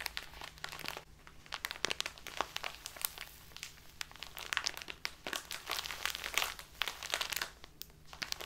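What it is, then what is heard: Crinkly plastic tea bag. A small plastic bag full of loose tea is crinkled in the hands, then pressed and rubbed with the fingers against a cloth-covered table. The result is a steady stream of bright, crisp crinkles and sharp crackles at a soft level, with quick clicks that stop short and almost no low end.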